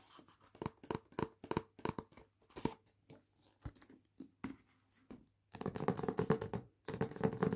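Long nails tap and scratch the front cover of a solid hardback novel in a paper dust jacket resting on a table. Quick, dry, papery taps come in short clusters with brief pauses between them. In the final two seconds they give way to a denser, continuous scratching and rustling across the cover.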